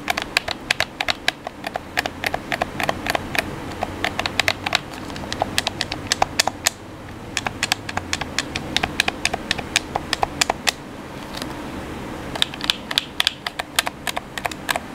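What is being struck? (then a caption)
Plastic game controller. Fingertips tap and press the buttons of a black hollow plastic gamepad while the hands grip and rub its shell. The result is a dense, irregular stream of sharp, bright plastic clicks that die away almost instantly, set over a soft continuous rubbing hiss. The clicks thin out briefly around the seventh second and again near the twelfth.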